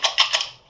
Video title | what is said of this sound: Cradle to cradle for an inclusive society. Music with natural and recycled materials | the seeds are inside, and you can shake it and listen to the seeds moving inside the pumpkin